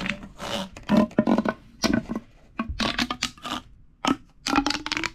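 A large, hollow purple corrugated plastic pop tube is stretched out on a wooden table while hands press and rub along its ridges. It gives uneven bursts of crinkly rasping and popping clicks, bright and crackly, with a faint hollow tone around 220 Hz ringing through the tube. Brief quiet gaps fall between the bursts.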